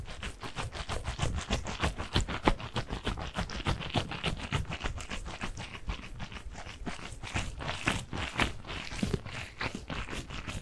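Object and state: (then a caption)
Gel bead squishy stress ball. A hand-sized soft squishy stress ball filled with blue water gel beads pressing through a mesh skin is squeezed and rubbed with the fingers close to the mic. Dozens of quick, irregular squishy crackles and scratchy rubs follow one another at about three per second, each short and dry with a bright edge over a soft low body.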